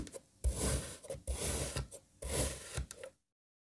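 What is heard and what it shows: A serrated knife cross-cuts a lime kinetic sand puzzle block that is already cut into strips, making repeated gritty, rasping strokes. Each stroke has a soft low thud under bright, grainy crunch, and the cutting stops abruptly into silence.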